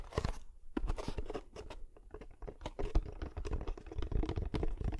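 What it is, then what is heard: Cardboard box tapped. Fingertips and nails tap the sides of a small, hollow, closed kraft cardboard box held near the microphone. The result is a quick, irregular run of dull, low, hollow thuds mixed with crisp, papery clicks and light crinkling. Each tap dies away almost at once.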